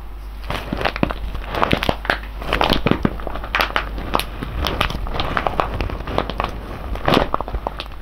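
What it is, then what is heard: Foil coffee bag full of whole beans. A large, sealed silver foil-laminate coffee bag full of whole beans is held in both hands and squeezed and rubbed with the fingers. It makes a continuous, dense crinkling and crackling with many sharp, quickly fading snaps. A steady low rumble sits underneath.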